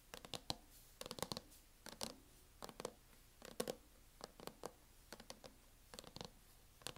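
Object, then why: Plastic laptop hard-shell case. A closed MacBook in a mint matte plastic hard-shell case, lying flat on a wooden table, is tapped with the long painted acrylic nails of both hands. Quick, sharp clicks come in irregular bursts and flurries, each dying away almost instantly. They sound bright and plasticky, with a faint hollow knock beneath them.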